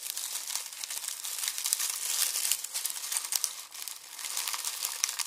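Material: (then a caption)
Onion skin. Both hands squeeze and crush a red plastic mesh bag of dry onion skins, crinkling the papery skins. A dense, steady stream of bright, dry crackles runs throughout with almost no low end, dipping briefly near the 3.7-second mark before picking back up.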